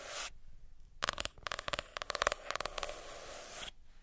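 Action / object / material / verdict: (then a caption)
tap / hardcover notebook, cardboard cover / cardboard / none. Fingernails tap and scratch on the cardboard cover of a hardcover notebook. A short bright scratch opens, followed by a quick run of crisp, dry taps with a faint hollow ring near 600 Hz and 1 kHz. It ends in a steady, airy scraping across the cover.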